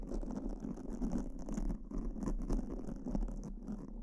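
Pink silicone spoolie tips are rubbed and scratched across the surface of black foam microphone covers with both hands. The result is a steady, dense, close-up scratching and brushing texture with a soft low body and airy high crackles that swell and fade without clear breaks.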